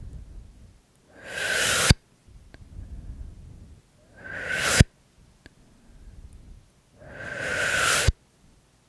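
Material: Nothing is struck.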